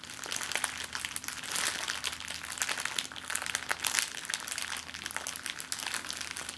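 An empty clear plastic zip-lock bag is balled up, squeezed and crinkled between the palms and fingers. It makes a steady run of bright, dense crackling with many quick, dry crinkles and almost no low end. A faint low hum sits underneath.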